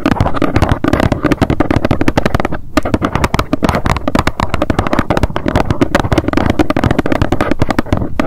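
Long nails tap rapidly on the front of a small, hollow white cardboard box standing upright. The result is a dense, continuous stream of dull, hollow, low-pitched knocks with very little brightness and a brief pause near the three-second mark.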